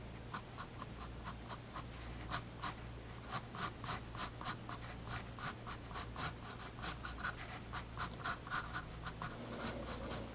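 A graphite pencil draws light line strokes on a page of a spiral-bound paper sketchbook resting on a wooden desk. Quick, bright scratchy strokes repeat at an uneven pace over a steady low hum.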